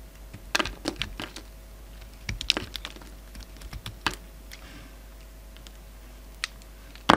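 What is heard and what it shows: A utility knife blade shaves and cuts a solid peach bar of soap held in the hand, making short, crisp, dry ticks and scrapes in irregular bursts with a bright edge. Each cut is brief with almost no ring, separated by quieter stretches, and the clip ends on a louder, denser cut.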